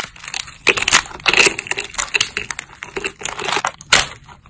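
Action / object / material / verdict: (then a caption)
strike / thin dried soap plates / soap / none. Thin, solid cream-white dried soap plates are snapped between thumbs with long grey nails. A quick run of crisp, bright crunching snaps and crackles follows, almost no low end, each break dying away fast.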